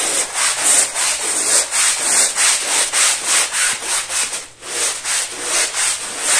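A long-handled brush with plastic bristles scrubs a small, fringed woven rug that is wet, foamy and muddy on a tile floor. Quick, bright, hissing swishes repeat at a steady rhythm of about three strokes per second, with a brief pause midway before the scrubbing resumes.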